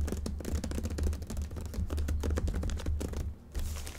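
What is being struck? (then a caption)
Cardboard box wrapped in plastic bag. Long fingernails tap and scratch the top of a hollow, medium box wrapped in a black plastic bag with a paper shipping label on top, then hands grip and squeeze its sides, crinkling the plastic. Quick, dry clicks and scrapes run in a dense stream over a steady low hum. After a brief quieter pause, a brighter plastic crinkle takes over at the end.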